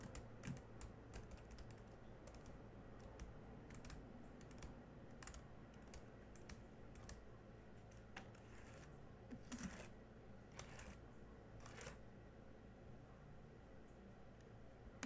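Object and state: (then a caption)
Plastic laptop keyboard typing. Fingertips of one hand type on the black plastic keys of a small silver laptop, producing quiet, short, dry clicks in an irregular stream. The keystrokes sit over a steady low hum throughout.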